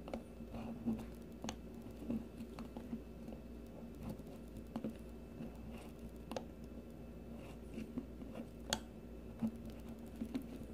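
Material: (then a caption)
Soap. A solid green bar of soap held in the hand is shaved with the metal blade of a blue peeler, curling strips off the bar. Quiet, soft scraping strokes are heard with occasional sharper, brief clicks over a steady low hum.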